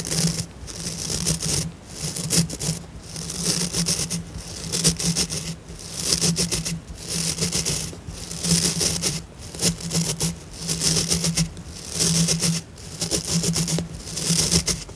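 Fingertips and nails scratch and rub across the dense white synthetic bristle tips of a blue plastic scrub brush. Bursts of bright, hissy bristle scratching swell and fade in uneven strokes over a steady low hum near 164 Hz.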